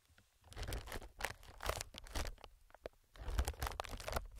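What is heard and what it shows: A single fingertip taps and scratches the film of a clear, hollow, inflated multi-chamber plastic air packing pillow. It makes bursts of dry crinkling and scratching with soft low thumps underneath. There are brief quiet gaps between the bursts, and no ringing afterward.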